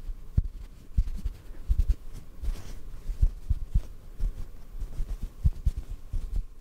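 A small white cotton ball held above the microphone is gently tapped with fingertips. It makes a stream of soft, muffled, low thumps with almost no ring over a faint steady hum.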